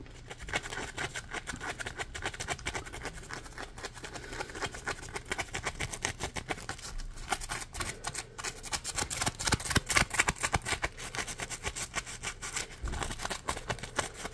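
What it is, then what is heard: Foam kitchen sponge. Fingernails scratch the ridged, textured foam edge of a yellow, hand-sized polymer foam Scrub Daddy sponge. The result is a dense run of quick, dry scratching ticks with a bright, hissy texture and a low background hum, growing louder and busier around the middle.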